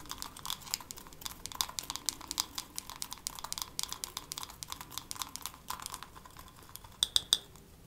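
A wooden hairbrush is tapped quickly with long nails for ASMR, making a rapid, uneven stream of crisp, dry clicks. The sound is bright, with almost no low end and each tap dying away almost instantly. Near the end, three louder taps bring out a short high ring around 3.6 kHz.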